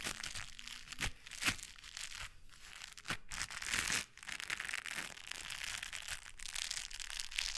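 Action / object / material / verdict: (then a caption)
scrape / gloves with foam or rubber fingertips / foam rubber / none. White gloves with blue textured foam or rubber fingertips are pressed palm to palm, and the coated fingertips rub against each other just above the microphone. The result is a steady, bright, crinkly scratching that sounds like crumpling, with occasional sharper crackling bursts and very little low end.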